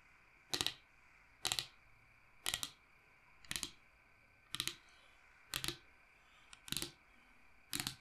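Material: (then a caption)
Wood. Long nails quickly tap and scratch across the cut face of a large, solid, round log slice with its bark rim showing, held upright. Eight short, bright, clicky bursts land about once a second, each a quick cluster of dry taps with very little low end and almost no ring, over a quiet hiss.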